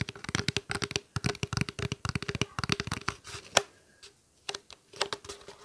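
A small, clear plastic water bottle, hollow with a little water inside, is held upright and tapped and squeezed with fingertips and nails. About two dozen quick, dry taps and crinkles come in fast bursts with a hollow tone around 560 Hz and bright clicky edges. A short pause near the end is followed by a few last taps.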